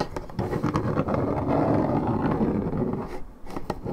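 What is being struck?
Coated paperboard juice carton.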